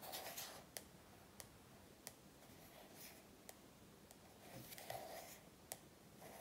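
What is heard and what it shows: About seven sharp, bright ticks stand apart, each dying instantly, with hissy scratching patches between them in a small quiet room. Fingernails tap and scrape a glossy paperback cover; the thick stack of paper underneath damps every hit, so nothing rings.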